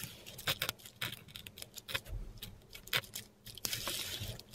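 A metal dip pen nib scratches across a flat sheet of textured Korean paper on a table, writing letters in ink. The sound is a series of short, bright, dry scratches and taps with quiet pauses between strokes. A longer, hissing scrape ends the clip.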